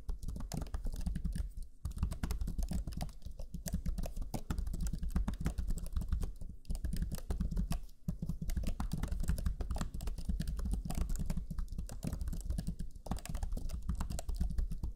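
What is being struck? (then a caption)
Plastic laptop chiclet keyboard. Fingertips of both hands type rapidly on the black chiclet keyboard of a Lenovo Legion 5 laptop, its low-profile plastic keys giving a dense stream of short, soft taps. The pressing runs steadily for the whole clip with only brief pauses, and the sound stays low and muffled.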